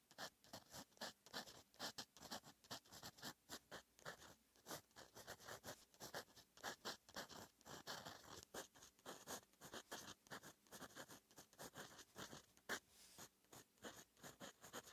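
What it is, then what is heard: Paper under a fountain pen nib. A fountain pen's metal nib, held in fingers, scratches across a flat sheet of lined writing paper in continuous handwriting strokes. Short, bright, dry scratching bursts follow one another irregularly at a quiet level, with almost no low end.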